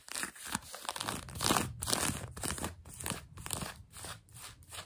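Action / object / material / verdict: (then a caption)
scrape / denim jeans fabric / denim / none. Long nails scratch grey-blue denim jeans stretched over a knee. Repeated raspy, bright scratching strokes come in an uneven rhythm of roughly two per second, each a hissy burst with a soft low rub beneath and no ring after it stops.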